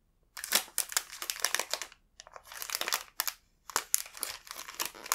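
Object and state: Crinkling plastic snack wrapper.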